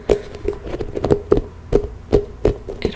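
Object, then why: Spiky rubber massage ball. Long nails tap and scratch the nubs of a medium-sized, hollow pink rubber spiky massage ball. The result is a series of quick, dull taps with a hollow tone around 400 Hz that die away almost at once, with faint scratching between them.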